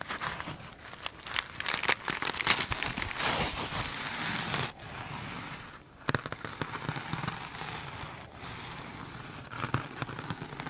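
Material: Mesh foam.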